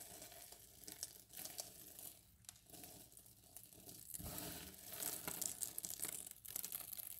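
A pile of small pale green and white cut bar-soap cubes on a yellow mat is scooped up by bare hands and let fall back onto the pile. The tumbling cubes make a crisp, pattering, crinkly clatter, bright and dry with quick overlapping taps and louder surges as each handful drops.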